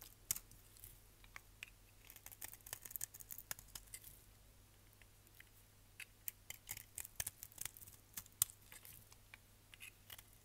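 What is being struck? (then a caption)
Bar of soap shaved with a blade. A solid orange striped bar of soap, held in the hand, is shaved with a utility knife blade into yellow flakes. The result is a quiet, rapid series of crisp, bright scraping and crackling cuts, with brief pauses between bursts over a faint steady low hum.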